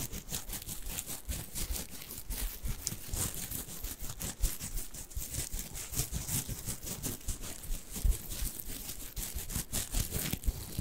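Fingers scratch and squeeze a small, soft, stuffed orange plush fabric carrot cat toy with green leaves. The result is a steady stream of quick, soft scratching and rustling, with muffled low thumps under a bright, airy fabric hiss.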